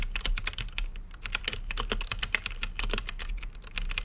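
Fingertips type quickly and steadily on an RGB-lit mechanical keyboard with plastic keycaps and a clear acrylic case. Each key press gives a short, bright clack with a soft low thock underneath, dying away almost at once. The presses come in a dense, uneven stream with a few louder strikes.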